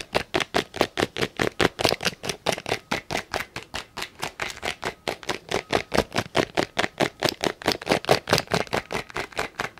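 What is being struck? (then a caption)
Plastic tape measure housing. Fingertips and nails tap and scratch the housing of a small hollow black and yellow plastic tape measure case and fiddle with its lock button close to the microphone. About 48 short, dry, clicky taps come in a quick, loosely steady rhythm. The sound is bright and hollow, with little low end and almost no ring after each hit.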